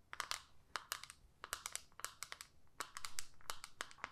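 Long manicured nails tap and scratch a small, flat, hollow plastic eyeshadow compact with a clear lid, held in both hands. About two dozen quick, dry, bright clicks with very short ring sound over soft scratching. The sound is quiet throughout.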